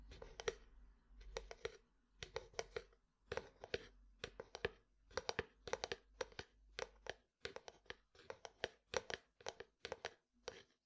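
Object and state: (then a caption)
Plastic jar tapped. A white plastic jar is held beside the microphone while its lid and side are tapped with fingertips and nails. The taps come as quick bursts of three or four short, crisp clicks with a hollow ring near 500 Hz, each dying away almost at once, separated by brief pauses across the clip.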